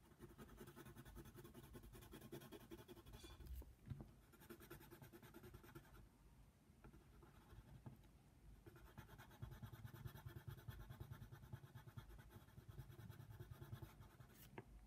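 A yellow colored pencil tip scratches across a flat white paper coloring book page in short shading strokes. It makes a soft, steady, rasping scratch with a low, dull body. The scratching eases a little in the middle before picking back up.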